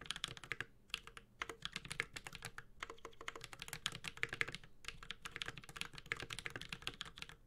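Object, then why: Mechanical keyboard with plastic keycaps and metal case. Continuous two-handed fingertip typing on a 65% mechanical keyboard with a metal case, ABS plastic keycaps and Holy Panda switches. Quick, bright clacks with short ringing tails tumble out in rapid bursts, broken by brief pauses.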